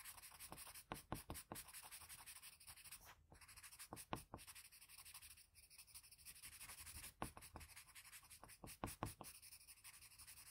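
Fingers hold a blue wooden graphite pencil and make short scratching strokes around the eye of a graphite portrait on a flat sheet of drawing paper. A quiet, steady papery scratch hiss runs throughout, broken by sharp, brief stroke ticks that cluster in quick bursts.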